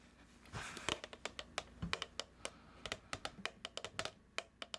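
Long nails tap on a medium plastic cookie dough tub with a printed label, producing about 22 short, crisp clicks with bright high-end ticks. A soft scratchy rustle runs underneath, strongest near the start, between the taps.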